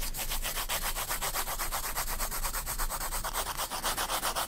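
A graphite pencil shades a spiral-bound paper sketchbook page with long strokes. It makes a steady, rhythmic scratching rub of about four strokes per second, each a bright, airy hiss over a faint low rumble.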